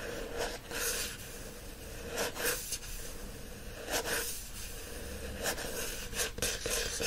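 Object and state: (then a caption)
Paperback book with glossy card cover being scratched. Fingernails scratch the front cover of a teal paperback book with a glossy card cover, then scratch its cover and spine once the book is stood on end. The result is a series of dry, bright, hissing scratch strokes in short bursts, with a faint steady low-mid tone underneath.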